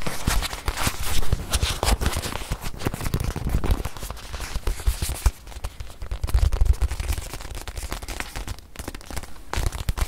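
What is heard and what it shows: Long nails tap and scratch the surface of a small stuffed white leather watch pillow held in both hands. The sound is a dense, rapid run of short, dull taps with a deep, thumpy body, broken by crackly scratching strokes that ebb and swell throughout.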